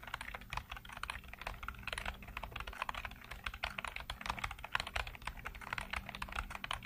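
Fingertips rapidly tap the keys of a black plastic computer keyboard with hollow keycaps and blue-lit keys. The result is a steady stream of quick, sharp, clicky taps with a bright edge, over a faint low hum.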